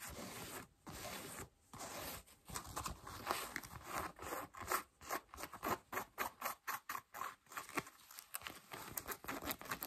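Long nails scratch the thigh fabric and seam of worn beige cotton denim jeans while the wearer sits with the knee raised. Dry, rasping scratches sound bright and papery, with longer strokes at first and then quicker, evenly spaced bursts separated by brief silences.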